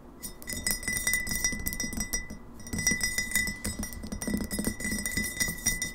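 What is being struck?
Glass bottle.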